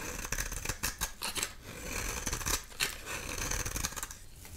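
A dry, solid oval soap bar with a red core and black rim is held in the hand and shaved with a metal utility knife blade, peeling off orange-red curls. Repeated crisp, bright scraping strokes rasp and crackle in quick succession, with short, dry tails and a low, soft rumble underneath.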